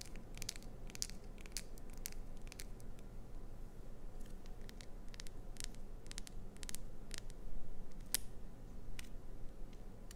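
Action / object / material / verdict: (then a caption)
scrape / glycerin soap bar / glycerin soap / none. A clear green solid glycerin soap bar with a clownfish design, held in the hands, is scratched and tapped on its face with long pointed acrylic nails. Many quick, crisp, bright ticks and scrapes come in uneven bursts over a steady low rumble.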